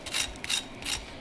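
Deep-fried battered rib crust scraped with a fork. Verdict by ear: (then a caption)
Crispy. A fork scrapes across the golden brown batter crust of deep-fried smoked ribs, making a few short, crisp, high-pitched crunchy scraping bursts. The crust sounds nice and crunchy.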